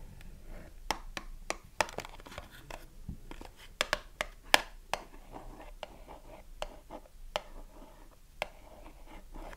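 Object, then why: Small cardboard box with a bar of soap inside. Long nails tap and scratch a small cardboard soap box with a bar inside, first on its front and then on its narrow side. Crisp, bright clicks with almost no ring stand out over a soft, steady scratching rustle, with about fifteen sharper taps spread irregularly through the clip.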